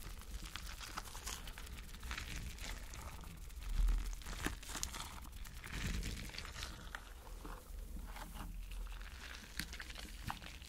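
Fingertips press and rub the bumpy surface of a palm-sized, spiky, clear rubber mesh stress ball filled with gel water beads. Soft, continuous crinkling and squishy crackles ride over a steady low rumble, with a few brighter clicks and a slightly louder squeeze near the four-second mark.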